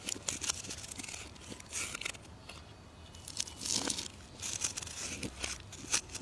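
A solid, rounded orange bar of soap held in the hand is scraped and carved with a metal knife into fine shavings. Quiet, bright, crisp scraping and crunching rasps come in repeated strokes, each short and dry with almost no low end or ring.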